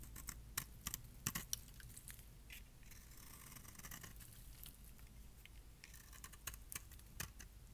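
A metal blade shaves curls off the edge of a palm-sized, solid light pink bar of dry soap with an embossed logo, held in hand. Quiet, crisp scraping and crackling comes in short bright clicks and bursts over a steady low rumble, with the sharpest snaps near the start and toward the end.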